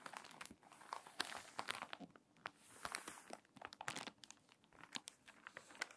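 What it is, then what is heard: Water-damaged paper magazine. Fingertips and long nails rub the crinkly pages of a water-damaged paper magazine, then turn a page. Dense, dry crinkling and sharp, bright crackles come in quick bursts with quieter rustling swells between them.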